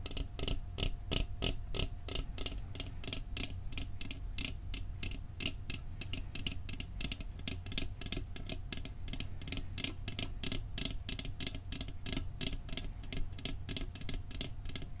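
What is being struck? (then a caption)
Metal cookie tin. Fingertips tap quickly and steadily on the lid and edge of a round, decorated, hollow metal cookie tin held in the hands. Each tap is a short, dry, bright click that dies away almost at once, over a low hollow body tone. The tapping keeps an even, rapid pace for the whole clip.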